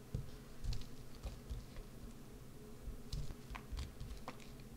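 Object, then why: Bar of soap. A small wood-handled gouge scratches and carves into the face of a solid green bar of soap. It makes a series of short, soft, dull scraping cuts with brief bright ticks, over a steady low background hush.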